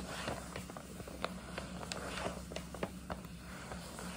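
Long nails tap and scratch the front of a hollow, printed paper gift bag with a scalloped top, held low. Short, dry papery taps stand out over a soft, continuous scratchy rustle, with a steady low hum underneath.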